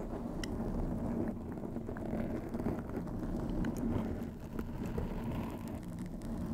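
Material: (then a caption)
Foam. Long acrylic nails scratch from both sides over a black foam windscreen covering a white microphone. The result is a steady, dense, low rumbling scrape with a faint tone near 220 Hz and occasional brief bright ticks.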